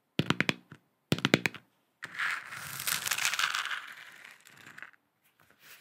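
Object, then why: Hollow plastic lamp sphere. A hand-sized, hollow plastic moon lamp sphere with a galaxy print, lit and held in both hands, is tapped and scratched with long acrylic nails. Two quick clusters of sharp, hollow clicking taps are followed by about three seconds of continuous bright, rasping scratching across the plastic surface, which fades out with a few faint scrapes.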